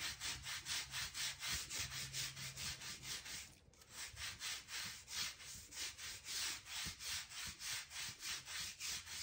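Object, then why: Oak plank floor. A thin scraping tool with a blue handle is dragged back and forth along the gap between solid oak floorboards, scratching out dirt. It makes rapid, steady, bright rasping strokes, about four per second, with a brief pause partway through before the scraping resumes.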